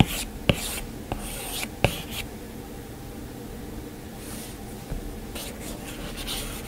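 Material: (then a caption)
Glass. A plastic stylus tip is dragged and tapped across the glass screen of an iPad in repeated sketch strokes. Soft, bright scratchy rubs run through the clip, punctuated by four sharp, short taps on the glass.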